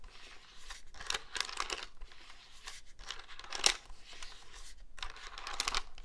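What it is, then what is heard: Plastic cordless phone handset. Fingertips and nails tap and scratch the front and keys of a hollow black plastic cordless phone handset held upright with its keypad facing out. It makes quiet bursts of dry, bright scratching and crackly clicks, each dying almost instantly, with brief gaps of near-silence between them.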